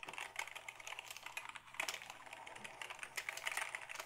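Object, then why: Plastic computer keyboard. A black Dell keyboard of hollow plastic is held at an angle while fingertips press its keys in a quick, uneven run. Each press gives a short, dry, bright plastic click with almost no low end, and the clicks die away almost at once.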